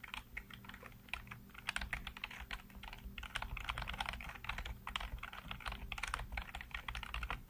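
Fingertips type rapidly on the keys of a black plastic backlit computer keyboard. The result is a dense, continuous stream of short, dry, bright clicks and taps over a steady low hum.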